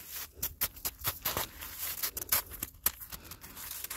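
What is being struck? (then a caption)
Icy granular snow. A black-gloved hand scrapes and digs into icy, granular snow on the ground that has turned to ice, grabbing crunchy chunks. The result is a rapid series of short, bright crunches and gritty scrapes, mostly high-pitched with little low end and no ringing.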